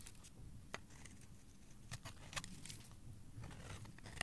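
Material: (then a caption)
Soap. A blade carves and scrapes a solid pink-red oval bar of soap held in the hand, sending curls of soap falling onto a pile. Soft, quiet scraping runs over a low background rumble, broken by a few sharp, bright crisp ticks as the blade cuts in.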